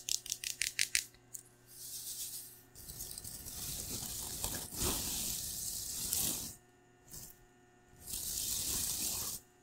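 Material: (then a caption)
Plastic foil. A large pink metallic plastic-foil tinsel pom-pom with a white plastic handle is held by hand and shaken and crinkled in front of a microphone. A quick run of sharp, bright rustling bursts opens the clip, then gives way to longer stretches of dense, crackling foil swishing separated by brief pauses.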